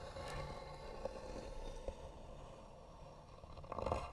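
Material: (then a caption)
Wood. Long nails scratch slowly and hard across the lid of a small, hollow, white-painted wooden box. The result is a quiet, low, rumbling scrape punctuated by brief ticks with a tone near 530 Hz, growing busier and louder toward the end.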